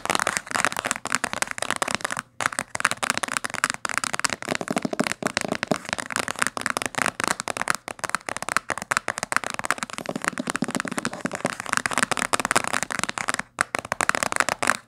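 Long fingernails tap rapidly along the spine of a thick, dark blue cloth-bound hardcover book lying flat. The result is a dense stream of crisp, dry clicks with almost no low end, broken by short pauses around 2.3 and 13.5 seconds.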